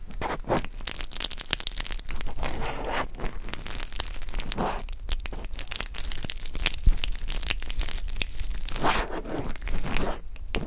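Springy black 3D spacer mesh made of polyester air mesh fabric is pressed and rubbed by two pencil microphones. It produces a continuous scratchy crunching and crinkling rustle over a steady low rumble, with brief brighter bursts throughout.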